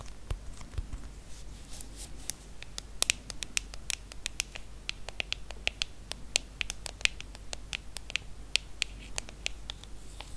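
Long acrylic nails tap and scratch the aluminium back of a silver iPhone, a small hollow handheld device. Rapid, irregular bright clicks with a ringing tone near 2.6 kHz die away almost instantly, over a soft scratchy rustle and a steady low hum.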